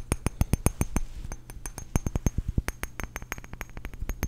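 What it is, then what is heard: Glass perfume bottle. A small glass perfume bottle with a metal cap, partly filled with blue liquid, is held up and tapped quickly with fingertips and short nails. The result is a rapid, uneven run of sharp, dry clicks with a low thump beneath each one and a faint bright glassy tick on top. Each tap dies away almost instantly.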